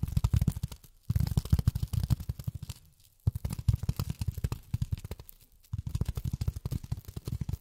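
Long fingernails tap rapidly on polyethylene foam, producing quick, dull, low thuds that stop dead with no ring. The tapping comes in four bursts separated by brief silent pauses.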